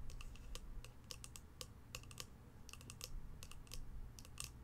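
Long pastel nails tap rapidly on the lid of a polka-dot cardboard box held in the hands. The result is a quick, uneven patter of dry, clicky taps with a bright edge and almost no ring, over a steady low hum.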